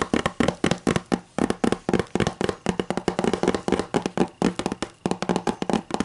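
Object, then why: Hardcover book. Long matte green and black nails tap and scratch a closed hardcover book with a white cover, resting on a table. Rapid, slightly irregular dry taps with short, clicky decays blend with scratchy rustles, and the book sounds solid.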